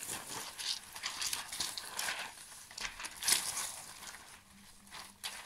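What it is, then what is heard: Mylar foil strips. A bunch of thin, shiny silver metallized plastic mylar foil strips is shaken and crumpled by hand. It makes a steady, bright crinkling rustle with no low end, rising into sharper crackles that swell and fade over a few seconds.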